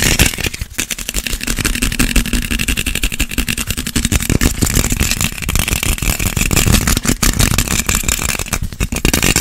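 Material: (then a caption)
Citrus peel. A small whole orange or clementine with a green stem, held in both hands close to the microphone, is scratched quickly with fingernails. Dense, rapid scratching produces a continuous rough rasp with a strong low rumble and bright, crackly high texture.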